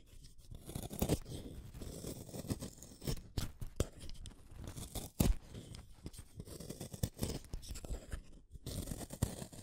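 A small, solid orange wooden colored pencil is shaved with a utility knife blade. Soft, repeated scraping and shaving strokes run throughout, with a few sharper crunchy snaps of wood coming away.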